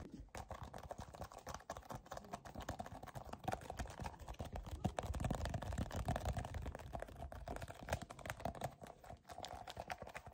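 A white and yellow soft plastic cosmetic tube, about 15 cm long, hollow and filled with cream, is gripped and squeezed with fingertips and short nails. The result is a dense, irregular stream of quick, dry taps and soft crinkles, mostly low and muffled, with a steady midrange hum underneath and no ringing after each touch.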